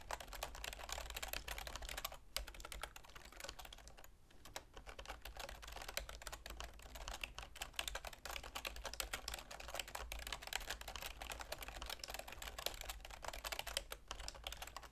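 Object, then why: Plastic computer keyboard. Long manicured nails and the fingertips of both hands type and tap on a full-size black plastic keyboard with a silver plastic frame resting on a wooden table. A dense, steady stream of bright, sharp clicks and clacks runs throughout, with brief lulls near the start, over a constant low hum.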